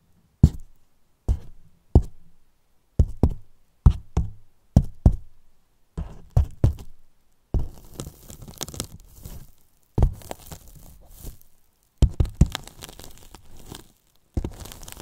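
The wooden handles of two make-up brushes tap and knock the side and top edges of a large white hollow polyethylene foam box with a microphone inside. Dull, deep thuds with almost no ring come first as spaced single and paired knocks, then turn into quicker rolling flurries with a light scratchy rustle between them.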